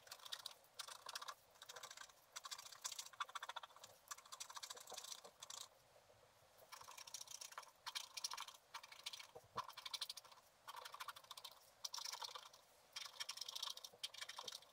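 A wooden stylus scratches a flat sheet of black wax-coated scratch art paper, etching a candy cane and gingerbread man in a filled Christmas stocking. Quiet, dry, bright scraping comes in rapid bursts of short strokes, separated by brief pauses, with no low-end weight.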